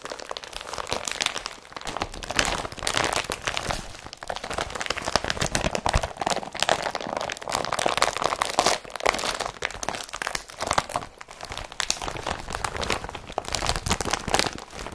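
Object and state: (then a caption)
Woven polypropylene bag, empty. An empty blue IKEA BRATTBY woven polypropylene carrier bag is handled and crumpled by both hands with the fingertips. It makes continuous dense crinkling and crackling with sharp, bright crunches. The sound is busiest in the mid and high range with little low end.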